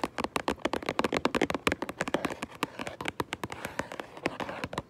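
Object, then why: Cardboard box of toy bricks. Long purple acrylic nails tap and scratch the front of a medium Minecraft Lego set box made of hollow cardboard, likely full of bricks. About 34 quick, dry, mid-pitched taps follow in a steady flurry, each clicking sharply with almost no ring. A soft scratchy rustle fills the gaps, growing more noticeable in the second half.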